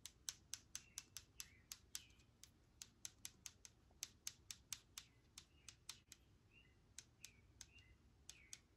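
Long nails tap the front label of a clear plastic sanitizer spray bottle held upright. About 30 sharp, bright clicks are heard in quick, uneven succession. Each one dies away almost instantly over a faint low hum.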